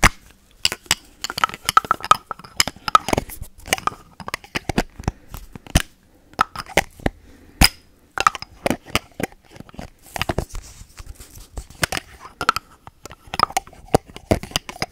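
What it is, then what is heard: Small plastic spray bottle cap. Long nails tap and scratch the black plastic cap of a small, hand-sized, hollow white spray bottle. The result is quick, dry clicks and crackly scrapes in uneven bursts with short pauses, with a light ring around 1.3 kHz and little low end.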